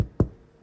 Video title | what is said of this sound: Najlepszy chleb na drożdżach jaki jadłem. Tego przepisu szukałem bardzo długo! | jak postukamy w spód, musi być taki głuchy dźwięk. I wtedy on jest, o właśnie, wiemy, że jest upieczony dobrze